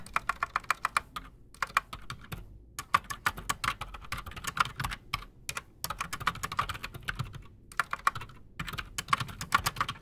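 A full-size black Redragon mechanical keyboard with PBT plastic keycaps and silent switches, sitting solid on a desk, is typed on fast with the fingertips of both hands. The result is a dense run of short, dry clicks and taps with a midrange centre and some high brightness. The bursts are broken by a few brief pauses.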